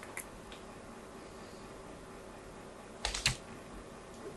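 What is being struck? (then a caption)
Bar of soap scored with a small metal blade. A small metal blade scores diagonal lines into the surface of a solid white bar of soap held in the hand. Five short, bright scratching scrapes break a quiet background, the loudest near the end.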